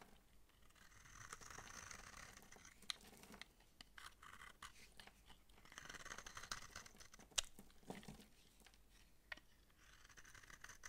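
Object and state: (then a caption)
Dry soap bar being shaved. A utility knife blade shaves and scrapes crumbly flakes off a dry, hard, palm-sized pink massage soap bar with bumps, held in the hand. Quiet, bright, gritty scraping comes in several longer passes, broken by a few sharp little clicks and crunches as flakes break away.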